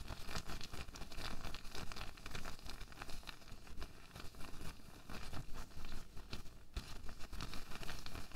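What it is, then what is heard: Latex glove, crumpled. A loose, empty pink latex glove is crumpled and stretched between the fingertips of both hands, giving a steady run of soft rubbing, crinkling and crackling. The sound holds at a fairly even, quiet level for about eight seconds, with a heavy low rumble beneath faint, brief bright crinkles.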